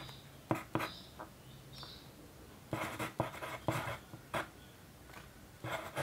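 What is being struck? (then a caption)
Paper sheet scratched by a graphite pencil. The graphite tip of a yellow wooden pencil scratches across a white paper sheet resting on a desk while writing figures. Short, dry scratching strokes come in separate bursts with quiet pauses between them.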